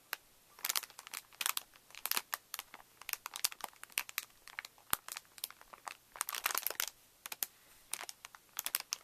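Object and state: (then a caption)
Plastic bag of wooden craft sticks being pressed. Both hands press and rub a clear plastic packet with a printed card header, full of small wooden craft matchsticks and lying flat on newspaper, using fingertips and flat palms. The plastic crinkles in quick, bright bursts of rustling while the sticks shift inside, with brief quiet gaps between the bursts.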